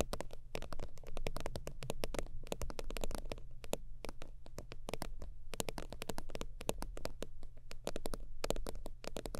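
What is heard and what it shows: Long almond-shaped nails tap and scratch rapidly across a long holographic faux-leather zip wallet with a soft, slightly crinkly surface. The result is a dense stream of short, dry clicks with crisp, bright tips over a steady low hum. The taps die away almost instantly.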